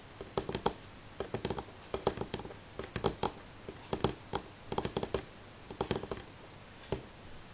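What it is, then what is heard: Wooden table top. A single fingernail taps slowly on a solid, light wooden table top. The sharp, dry clicks die away almost instantly, coming in irregular bursts and short runs against a quiet background. Each tap has a woody midrange knock and a bright edge.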